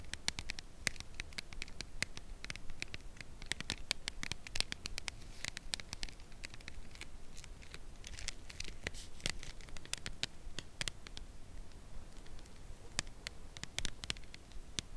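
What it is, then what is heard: Full cardboard chocolate box. A full red Lindor cardboard chocolate box is held and tapped and scratched with long nails on its front face. Dense, rapid, crisp ticks and scratches with bright, high clicks sound over a soft low rumble, with no ring after each strike.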